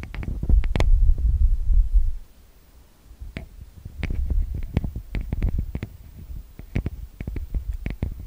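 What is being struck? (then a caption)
Metal mesh microphone capsule grilles. Fingertips tap and rub the two metal-grille microphone capsules of a TASCAM DR-40X recorder. A loud, deep rumbling rub fills the first two seconds, then after a brief near-silence come irregular, close, bassy thumps with sharp, bright clicking edges.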